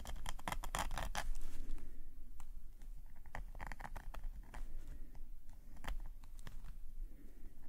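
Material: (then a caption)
Paper. A metal calligraphy nib scratches hatching lines across a page of a black paper sketchbook lying flat. Quick, dry scratchy strokes come in a dense burst at the start, then turn sparser and irregular. A steady low rumble runs underneath throughout.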